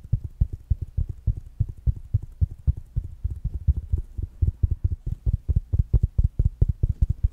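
A small, solid, round black smart speaker made of fabric-covered plastic with a mesh fabric surface is held in one hand and tapped and scratched with the fingertips and nails of the other. About forty-six quick, dull, low-pitched taps follow one another in a steady stream, each dying away almost at once with no ring.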